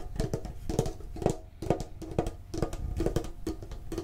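A medium-sized, hollow, printed metal Pokemon card tin box is rotated while being tapped quickly with the fingertips and short nails. The taps land in uneven clusters, each giving a dull, hollow knock with a mid-pitched metallic tone and a soft low thump. The tone dies away almost immediately.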